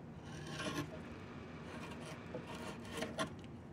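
A wood-handled chisel scrapes and carves the surface of a long, solid diamond willow walking stick with diamond-shaped knots. A steady, soft rasping scrape runs throughout, broken by a few brighter, sharper strokes as the blade bites into the wood.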